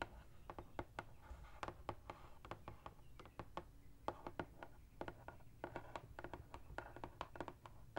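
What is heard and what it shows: Long acrylic nails tap and scratch the top of a large, flat, printed cardboard Sephora Favorites gift box, hollow and holding products, resting in front of the person. A quick, uneven series of short, dry clicks rings out, each dying almost instantly, with soft scratching between them over a faint low hum.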